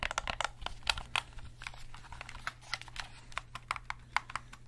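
A hollow black plastic gamepad is held in both hands while its buttons and triggers are clicked and tapped with the fingertips. About 21 short, dry, bright clicks come in an irregular rhythm, each dying away almost at once, over a faint steady low hum.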